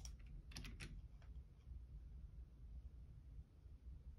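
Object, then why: Plastic computer keyboard. Fingertips type on the left-side keys of a black plastic Logitech computer keyboard, producing a few quiet, bright clicks in the first second or so. A steady low hum continues underneath throughout.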